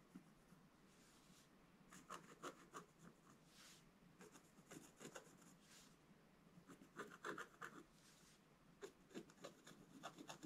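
A wooden scratch stylus scratches and rubs the upper area of a black-coated scratch-art page, a solid sheet in a book lying flat on a table. The result is quiet, irregular bursts of dry, bright rasping strokes in quick clusters, separated by brief softer stretches of light rubbing.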